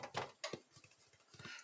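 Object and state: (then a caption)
Baked-through bread loaf (hollow). The top crust of a freshly baked white bread loaf is thumped right after baking, giving short, hollow taps with a quick decay. The hollow sound shows the bread is baked all the way through.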